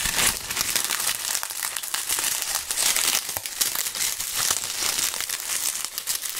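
Handfuls of dry, brittle brown maple leaves are crushed and crumpled between both gloved hands above a pile of leaves on a table. A continuous, bright, crackling crunch of light, hollow-sounding dry plant matter fills the clip, with almost no low end and short, dense bursts that barely ring.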